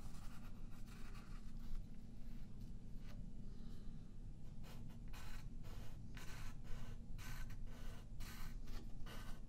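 A yellow graphite pencil rubs and scratches shading lines across a thin sheet of white paper lying flat on a wooden table, held in place by the left hand. Short bright, scratchy strokes come in repeated bursts over a steady low rumble that stays constant throughout.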